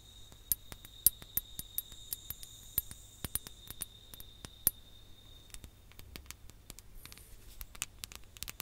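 A ribbed glass hourglass, partly filled with sand, is tapped close to the mic with long nails and fingertips. The result is an irregular run of quick, sharp clicks and clinks, each with a bright, very short glassy ring. Underneath sit a faint steady high tone and a low background hum.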